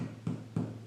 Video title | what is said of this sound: COMO FAZER PÃO INTEGRAL - Pane Integrale (Receita Tradicional Italiana). | Esse barulho quer dizer que ele está oco, então cozinhou direitinho.